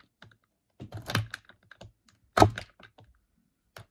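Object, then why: Bar of soap cut with a knife. The edge of a solid, dry, brown rectangular bar of soap, held over a white table, is cut and shaved with a green-handled utility knife. Short, dry crunching and scraping bursts are heard, the two strongest around the middle, along with a few faint clicks. Each sound stops almost at once with no ring.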